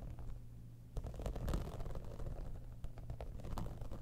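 Long nails on both hands scratch and tap the top surface of a hollow, embossed, holographic textured faux-leather cosmetic bag. The result is a low, dull rumbling scratch with soft, irregular tapping and rustling bursts throughout.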